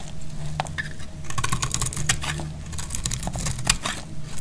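A solid rectangular bar of dried purple soap is held in the hand and sliced with a snap-off metal blade. Dense, dry crackles and crisp snaps come as curls of soap break off, over a steady low hum.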